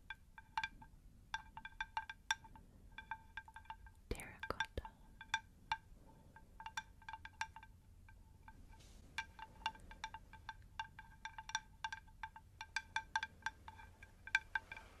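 Long nails tap a round, plate-sized terracotta pot saucer with a shallow, hollow underside in quick, uneven runs. Each tap is a bright, chime-like click with a short ringing tone around 1.5 kHz that dies away almost at once, over a faint low rumble. A louder cluster of strikes lands around the four-second mark.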